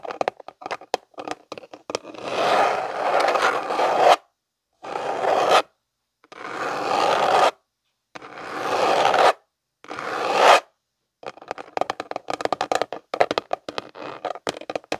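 Fingernails scratch and rub along the sides of a tall rectangular clear plastic storage container with a blue snap lid and a barcode label, held in both hands, its contents dark and unclear. Quick, dry scratching ticks open and close the clip, and between them come five longer raspy rubbing strokes separated by silences. The sound is midrange-centered and hissy, with no low end.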